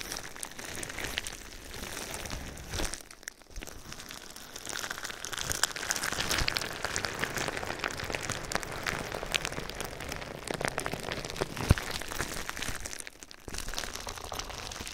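Fingertips and nails rub, scratch and press clear plastic bubble wrap with hollow, air-filled bubbles draped over a binaural microphone. The result is a steady, bright crinkling and scratching texture with soft crackles and occasional sharper ticks, dipping briefly quieter at two moments.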